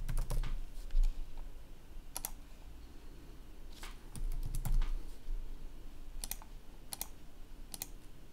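Fingertips press and click the keys of a black plastic laptop keyboard in irregular bursts of sharp, bright taps with short pauses between. A low, steady hum sits underneath the clicking.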